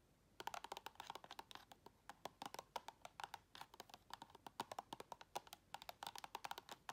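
Long red nails tap and scratch rapidly along the walls and lid edge of a round clear plastic tub full of white items, held sideways. Dozens of quick, dry, clicky taps land with a hollow plastic tone around 950 Hz and bright edges, each dying away almost instantly, with faint scratching between them.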